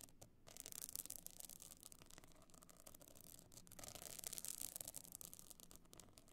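Long dark nails scratch across a small, rigid, hollow box clutch covered in glued pebble and shell chips with a gold metal frame edge, lying on faux fur. The result is a dense, bright, gritty rasping that runs almost continuously, with brief pauses near the start and midway. A faint low rumble sits beneath it.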